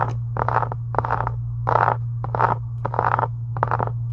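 Long acrylic nail tips scratch and tap the upper cover of a closed, pink embossed faux leather journal resting on a desk. Short, dry scratchy bursts centered in the midrange come in an uneven rhythm, with quick taps mixed in. A steady low hum runs underneath throughout.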